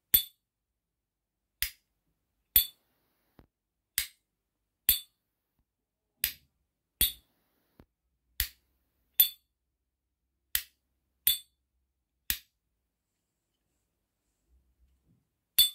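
A replica S.T. Dupont-style metal cigarette lighter has its lid flicked open again and again, making thirteen bright, high-pitched metallic pings with very short ring, plus a couple of faint clicks between them. The fake lighter's ping is judged to sound perfect, just like the real one.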